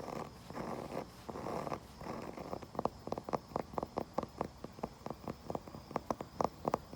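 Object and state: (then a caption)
Wooden surface. A wooden surface is scratched and tapped outdoors. It opens with a few seconds of dry, rasping scratching strokes, then shifts to a quick series of short, sharp knocks with a hollow midrange tone, over a faint steady background hiss.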